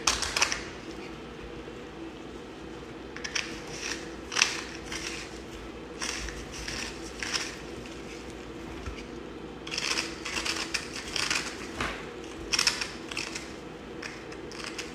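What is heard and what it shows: A yellow utility knife blade carves and scrapes a solid block of blue bar soap held in a gloved hand, dropping a pile of crumbly blue shavings. Repeated bursts of bright, crackly scraping and cutting come in uneven clusters over a faint, steady low hum.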